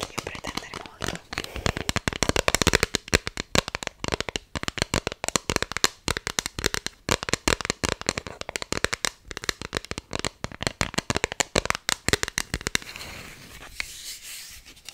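An empty pink lace-patterned hard plastic iPhone X case, thin and hollow-backed, is held in both hands and tapped and scratched with long nails. Rapid, crisp plastic clicks and taps come in dense bursts, then ease into a softer, continuous scratching near the end.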